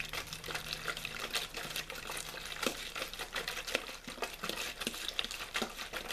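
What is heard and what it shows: A clear plastic water bottle with a blue label, hollow and mostly empty, is squeezed and crinkled by fingers. It gives a steady run of sharp, bright crackles and pops with very short decay, over a faint low hum in the first half.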